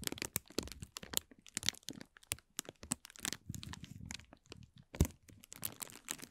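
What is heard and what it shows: A thin, transparent plastic film crumpled into a hollow, empty ball is twisted and crinkled between the fingertips of both hands. It gives a continuous run of sharp, bright crackles and crunches, with one louder snap near the end.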